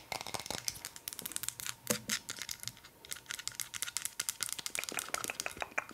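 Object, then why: Wooden object. Fast, aggressive tapping on a wooden object produces a dense run of short, crisp clicks. The taps are bright and high, with almost no low end, and each one dies away almost instantly.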